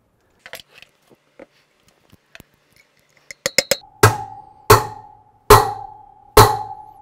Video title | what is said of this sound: R90/6 #20 Part 1 Front Wheel, Brakes, Master Cylinder & Steering Damper | That's the sound we're looking for. You can hear that solid sound, that you know bearing's in all the way.